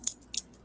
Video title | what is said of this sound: Cannabis, Smokes and Jokes w/ Indian Cheech and Chong | the way the band sounds when I'm like shaking it around. Like you can hear it's more solid